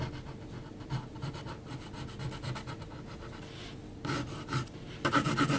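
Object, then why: Graphite pencil on heavy paper sheet. A yellow HB graphite pencil makes short scratching hatch strokes across a flat, thick, heavy paper sheet bearing a pencil portrait. Soft, rapid, rhythmic rasping fills the first four seconds, then louder, brighter bursts of scratching come near the end.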